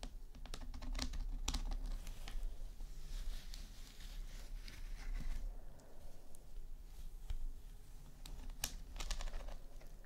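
Long nails tap quickly on the lid of a flat, rectangular, hollow, glossy red plastic eyeshadow palette case that lies flat. The result is a fast, irregular patter of short, dry clicks with a hollow low body, each dying away almost at once, and some bright ticks standing out.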